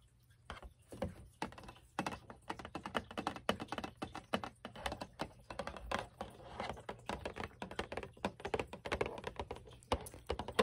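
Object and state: Cardboard cereal box.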